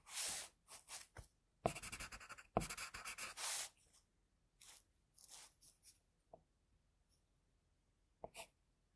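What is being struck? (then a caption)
Graphite pencil on a paper drawing sheet. A graphite pencil in a metal holder scratches short strokes on the headband of a drawing on a flat sheet of drawing paper resting on a board. Quiet, bright, scratchy bursts come in irregular clusters, with a denser stretch of rapid textured strokes in the middle and quiet pauses between them. A few soft taps are heard near the end.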